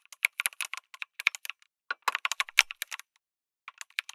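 Fingertips type on a lit mechanical keyboard with an aluminum case and plastic keycaps. The result is a quick run of sharp, bright clicks and clacks in uneven bursts with brief pauses and no low end, and each keystroke stops almost instantly.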